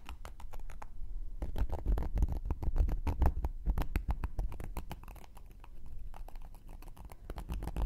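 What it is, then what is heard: Cork coaster. A thin wooden knitting needle scratches across the surface and edge of a round, flat, solid cork coaster held in one hand. Quick, irregular, dry scratching strokes follow one another rapidly, each short with a low, muffled body and little ring. The scratching runs continuously, louder in the middle and softer toward the end.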